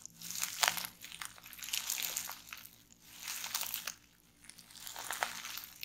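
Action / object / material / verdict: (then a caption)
scrape / plastic bubble wrap / plastic / none. Fingers with long nails press, squeeze and pop bundled clear plastic bubble wrap resting on a table. Bright, high-pitched crinkling comes in several swelling bursts, with a few sharper pops standing out above the rustle.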